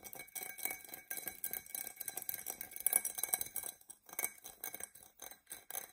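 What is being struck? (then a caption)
Glass drinking tumbler. Long nails scratch and tap a hollow, empty, dark purple embossed tinted glass tumbler. Quick, dry, bright clicks and scraping come in uneven bursts with brief pauses, sitting almost entirely in the high range with very little low end. Each tap dies away at once, with almost no ring.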